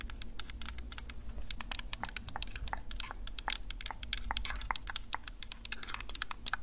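Long nails rapidly tap and scratch the top mic area and sides of a Tascam DR-05X handheld recorder, a small hollow plastic device with metal mic grilles. The result is a dense run of crisp, bright clicks and short scrapes with almost no ring, over a steady low hum.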